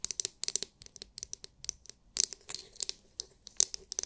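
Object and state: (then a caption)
Plastic glitter massage brush. Long nails tap and scratch the hard, clear, glitter-filled plastic dome of a palm-sized oval massage brush. The result is a quick, irregular run of sharp, bright clicks and brief scratchy rasps. Each one cuts off almost instantly, with no ring.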